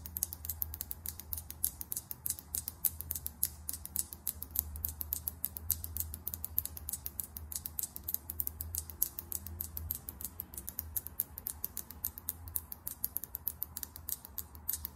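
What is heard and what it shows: A small clear glass lip gloss bottle, full of gloss and topped with a chrome metallic cap, is held horizontally and tapped rapidly with long nails. The result is a fast, steady stream of sharp, bright clicks that die away instantly, over a faint low hum.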